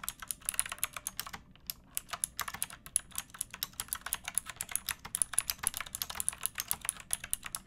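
Long painted nails and fingertips type steadily on a pink backlit typewriter-style mechanical keyboard with round plastic keycaps and a hollow plastic case, resting on a wooden board. About fifty sharp, bright clacks ring out in a quick, uneven rhythm, each dying away almost instantly, with a brief pause near the second and a half mark. The clicks are quiet and crisp, with little low-end body.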